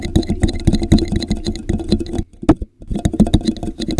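Fingertips rapidly tap and scratch the base of a translucent, hollow, empty plastic drinking cup with a popsicle print, turned upside down over a microphone. The result is a dense run of dull, muffled, low thumps with a boxy, hollow resonance and faint scratchy texture. It breaks into a brief near-silence with one isolated tap before the tapping resumes.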